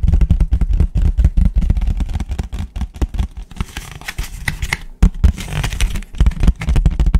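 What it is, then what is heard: Paper plate. A white paper plate is tapped fast with fingertips, first on its front and then upside down on its underside. Rapid, dull, low thumping taps come in dense bursts, with a softer, brighter, scratchy stretch in the middle and a brief pause before the tapping resumes.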